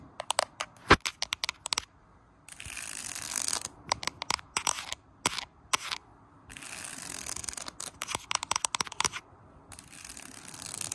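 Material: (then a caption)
Bamboo. Long painted nails tap and scratch quickly along a flat woven bamboo summer floor mat of thin slats lying low and solid on the floor. Bursts of sharp, dry, clicking taps alternate with longer stretches of bright, hissing scratching that is mostly high-pitched, with brief silences between passes.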